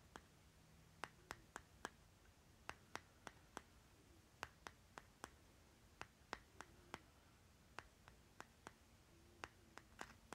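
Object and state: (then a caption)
Plastic lip balm jar tapped with nails. Short nails tap and scratch the stickered bottom of a small round plastic lip butter jar with a green plastic lid, held on its side. About 25 quiet, sharp, bright clicks land at uneven intervals over ten seconds, with faint soft scratching between them. A low steady hum sits underneath.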